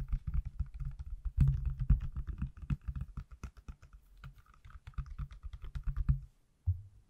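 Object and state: Smartphone in silicone case.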